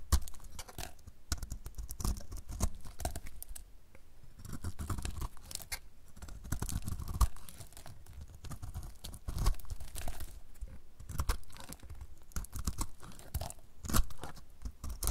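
A snap-off utility knife blade shaves a solid rectangular bar of dry dark blue soap held in the hand, letting curls and flakes pile up on a white table. The sound is a steady run of short, dry scraping and tearing crunches with sharp clicks, mostly low and close, with brief louder cuts near the middle and end.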